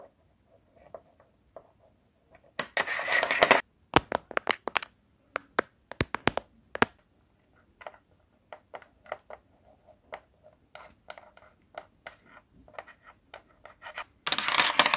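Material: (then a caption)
Metal. Metal nails taped to the fingertips tap and scratch across small, thin white magnetic poetry word tiles on a flat, dark grey metal board. Sharp, dry clicks come in quick irregular bursts, with longer bright scratching passages near 3 seconds and again at the end.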